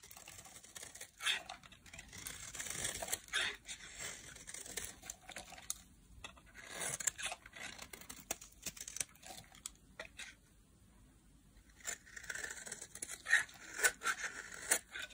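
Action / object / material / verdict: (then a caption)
scrape / bar of soap cut with a metal blade / soap / none. A palm-sized solid bar of dry yellow soap, held in the hand, is carved with a metal utility blade that shaves off thin curls. Quiet, bright, crinkly scraping and cutting strokes come in irregular bursts, with brief pauses between runs of shaving.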